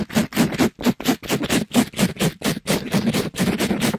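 A soft, pink glittery mesh scrub sponge is scratched and rubbed against a microphone grille by a gloved hand. The result is a fast, fairly regular run of rough, crackly scratching bursts, about sixteen strokes in four seconds, with a low, full body and airy high hiss.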